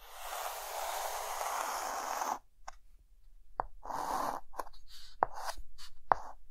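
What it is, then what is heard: Chalk drawing on a chalkboard. A hand draws an Eiffel Tower outline with a white chalk stick on a dark green chalkboard. A long, continuous raspy scratch is followed by a brief pause, then a series of shorter scratching strokes punctuated by sharp taps of the chalk against the board.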